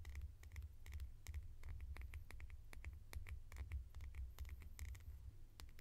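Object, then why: Small plastic lid. A small hollow red plastic lid held in the hands is tapped and scratched with long nails. Quick, dry clicks with a bright edge and soft scratching come in irregular bursts over a steady low rumble.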